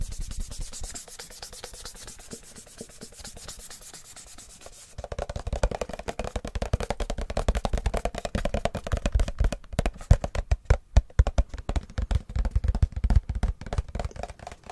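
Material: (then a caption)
Plastic. A white, hand-sized plastic face-wash tube, hollow and partly full, is scratched and rubbed with fingertips and nails. For the first five seconds it gives a quiet, bright, hissy scratching. Then the scratching turns louder and denser, with rapid crackly strokes over a dull, low-pitched hollow body.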